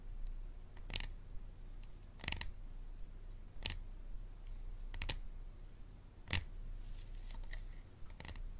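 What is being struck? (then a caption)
Hard plastic water bottle. A hard plastic water bottle is tapped slowly, giving a series of sharp, bright clicks and taps spaced a second or so apart, some in quick pairs. The taps decay almost at once over a steady low hum, with no talking.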